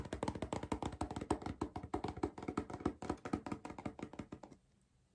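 Fingers tap and knock on a cardboard crisp tube, making a fast, uneven run of about 35 short, hollow, dry taps with a low-mid tone around 300 Hz. The taps stop just before the end, leaving near silence before one last faint knock.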